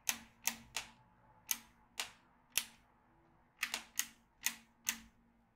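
A yellow magnetic pen is drawn across a black plastic magnetic drawing tablet with steel beads, making the beads click against the pad. Eleven short, bright, dry clicks centered near 3 kHz sound at uneven intervals, some in quick pairs, each dying away almost at once with nothing in the low end.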